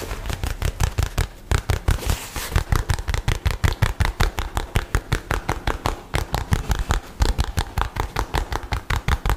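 A light blue nylon bag, rolled into a tube and held upright, is scratched and tapped with fingernails. About 45 short, dull taps come in a fast, uneven stream with a soft scratchy rustle between them. The taps are deep and thumpy, centered low around 110 Hz, and die away almost instantly.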